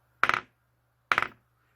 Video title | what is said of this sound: 알카라인 건전지(일회용 건전지) 1초안에 새것과 헌것 구분하는 방법 | 진동이 있어요. 요것도 1.5V 이하.